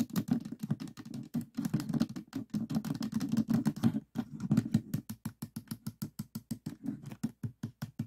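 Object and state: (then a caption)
Plastic puzzle cube. Fingertips and nails repeatedly tap the plastic tiles of a 3x3 plastic speed cube standing on a table with its columns offset. Dense flurries of short, dry, clicky taps in the first half give way to more evenly spaced single taps. Each tap is a low-mid plastic tick with almost no ring.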